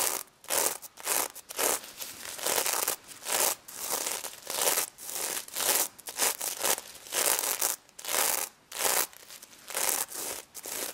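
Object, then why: Sequin fabric plush toy. A stuffed, soft-filled plush pig covered in reversible pink and gold sequins is scratched and rubbed with long red acrylic nails. Bright, crinkly scratching comes in repeated short bursts with brief pauses between strokes. There is almost no low end, and the energy sits mostly in the high range.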